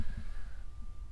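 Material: Nothing is struck.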